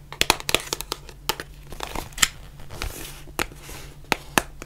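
Long nails tap and scratch a white printed cardboard face mask box, making an irregular series of sharp, bright, dry clicks with no ring. Softer crinkly scratching fills the gaps over a faint low hum.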